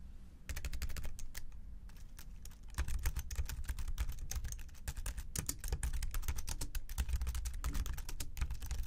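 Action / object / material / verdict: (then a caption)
tap / plastic computer keyboard keys / plastic / none. Both hands type steadily with the fingertips on the plastic keys of a slim white keyboard resting on a desk, the mouse beside it untouched. Dense, rapid clicks with bright edges and very short decay start after a brief quiet moment and continue throughout. A low hum sits underneath.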